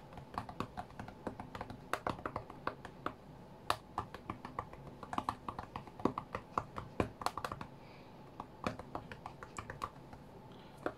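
Both hands tap fast with several fingertips on the glass touchscreen of a white iPad lying flat on a mat during a rhythm game. The result is a quick, irregular stream of short, dry, clicky taps with bright edges, some landing in tight bursts, over a low, quiet background hum.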